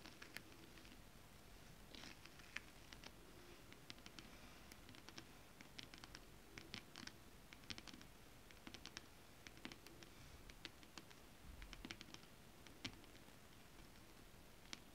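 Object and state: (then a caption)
Foil scale-pattern fabric. Long acrylic nails tap and scratch flat holographic mermaid scale fabric with a foil scale pattern. Quick, bright clicks and dry scratching patter irregularly over a soft, low rustling bed, each tap dying away almost instantly.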